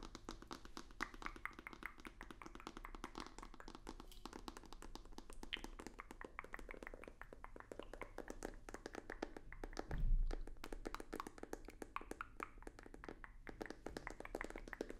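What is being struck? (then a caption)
Rigid cardboard box. A hollow, rectangular white rigid cardboard box with a black stripe is held in the hands and tapped rapidly with fingertips and nails, giving a steady stream of soft, dry clicks and taps. A low, heavier thump stands out around the ten-second mark before the quick tapping continues at a low level.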